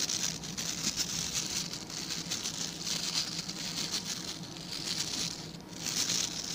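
Fingertips and nails scratch across the tips of the stiff white and blue plastic bristles on a hand-sized blue plastic scrub brush. The result is a dense, bright, crackling patter of rapid scratches that runs steadily throughout, with a faint low hum beneath and a brief dip in loudness near the end.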